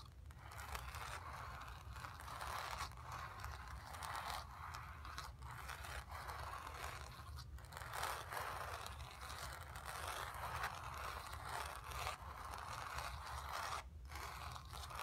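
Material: Canvas.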